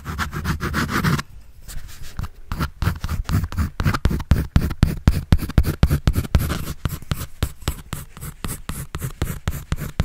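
A pencil draws and scratches on a white paper sketch pad held by hand. Quick, rhythmic scratchy strokes come at about four per second, each short and dry, with most of the energy low and a soft papery hiss above.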